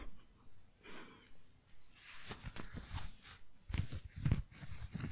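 Long nails tap and scratch a palm-sized squishy foam donut with blue icing. Soft, airy scratching swishes come in separate bursts at first, then build into denser, faster rasping mixed with dull, low, muffled taps that grow louder toward the end.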